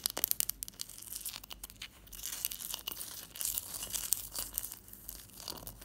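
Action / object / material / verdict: scrape / block of ice / ice / none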